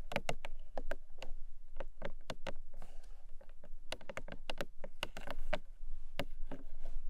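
Long nails tap quickly on the top and front of a small, long rectangular printed cardboard box, pink with gold stars, lying closed on a fluffy blanket. The result is a rapid, uneven run of short, dry clicks and taps with almost no ring, over a faint low hum.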